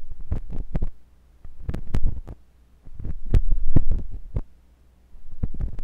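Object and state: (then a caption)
Silicone ear of a binaural microphone being scraped. A thin metal pointed sculpting tool with a wooden handle, held by fingers with long pink nails, scratches and pokes inside the ear canal of a white silicone ear on a block-shaped binaural microphone. The sound is deep, muffled thumping and rumbling with quick bright clicks, in four bursts separated by near silence.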